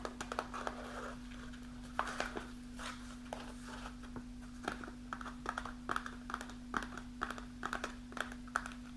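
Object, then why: Kraft paper pouch. Long nails tap and scratch a partly full kraft paper snack pouch with a window, held in the hand. The result is a rapid series of sharp, dry clicks and papery crinkling scrapes with a bright edge, over a faint steady low hum.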